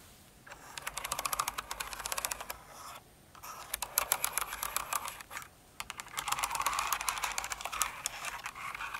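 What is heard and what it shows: Long nails type on a Cinnamoroll-themed mechanical keyboard with plastic keycaps and scratch across the keys. Quick, uneven bursts of bright, crisp clicks and clacks come with brief pauses between them.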